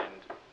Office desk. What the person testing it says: it's solid you know you can really bang on it